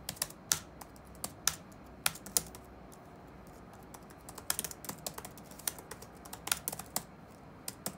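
Fingertips type on the black plastic keycaps of a dark laptop resting on a wooden desk, producing about nineteen quick, bright, sharp clicks that die away almost instantly. The taps come in irregular bursts over a faint steady hiss, with a quieter stretch in the middle before the typing picks up again.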